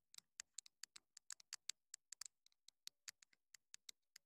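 Long nails tap quickly on the casing and top of a small, hollow black plastic clip-on wireless mini microphone transmitter. About two dozen sharp, dry clicks come in an uneven, rapid run. The clicks are bright and high with almost no low end, and each stops instantly with no ring.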